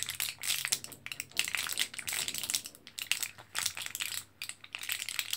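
An orange, foil-backed plastic blister card of capsules is held in both hands while fingertips press and crinkle it. The result is a dense stream of bright, crisp crackles and sharp little clicks with almost no low end, coming in uneven bursts with brief quiet gaps.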